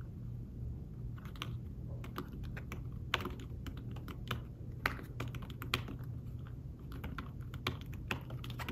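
Fingertips tap rapidly on the shallow keys of a thin, flat, fabric-covered tablet keyboard case, typing in quick, uneven bursts. Each keystroke is a short, soft, muffled click with a brief bright edge and almost no ring. A steady low hum sits underneath the typing.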